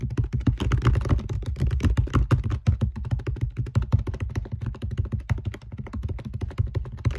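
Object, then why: Small glass compact mirror with metal rim. Long acrylic nails tap quickly on the glass face of a small round compact mirror with a metal rim, held up in one hand. A dense, steady stream of short, dull, low clicks and thunks sounds like fast typing, with each tap dying away almost instantly.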